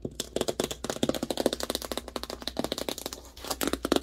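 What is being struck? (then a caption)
Large cardboard box. Long nails and fingertips tap fast on the printed side panel of a large, hollow cardboard TV box. About 23 dry, crisp taps land in quick, uneven bursts, each dying away almost instantly with a hollow mid-range knock and a bright clicky edge. There is a brief quieter lull near the three-second mark.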